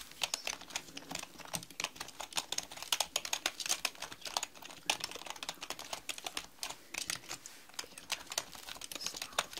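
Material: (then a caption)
Plastic. Long painted nails and fingertips type on a black mechanical computer keyboard with plastic keycaps resting on a round desk. They make a rapid, uneven run of sharp, bright clacks that stop almost instantly, centered around 3 kHz with almost no low end.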